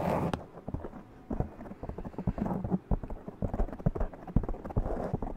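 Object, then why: Foam microphone windscreen. Long press-on nails scratch the top and sides of a black foam windscreen on a large condenser microphone. The result is a dense, irregular run of short, dull, low-heavy rustling and scraping bursts with almost no high end.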